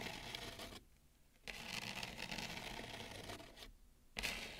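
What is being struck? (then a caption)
Bamboo serving plate. Long nails on both hands scratch along the outer rim of a wide, shallow bamboo serving plate. The result is a steady, bright, rasping scrape with broad hiss that drops out into near-silence twice before resuming.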